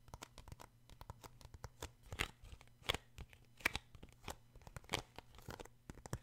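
Fingertips tap and scratch the glossy card front cover of a paperback book, making a rapid, uneven series of crisp, dry taps and bright, papery scratching rasps that stop almost instantly. A faint, steady low hum runs underneath throughout.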